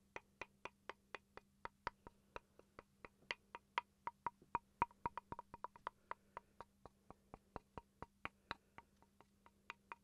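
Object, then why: Small wooden chopping board. A small solid wooden chopping board, held in front of the face, is tapped with fingertips and nails in a steady run of about 39 quick, dry knocks. Each tap is short with almost no ring and a woody tone around 950 Hz. A faint low hum sits underneath throughout.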